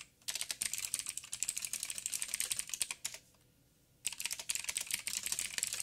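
Fingertips of both hands type on a backlit 87-key mechanical keyboard with plastic keycaps and clicky blue switches. A rapid stream of sharp, bright clicks pauses briefly near the middle, then resumes. Each click is crisp and dies away almost instantly, with very little low end.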